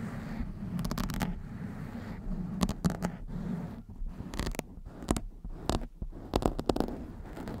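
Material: Foam.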